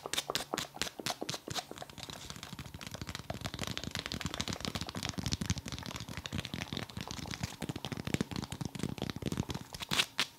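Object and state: Foam massage ball.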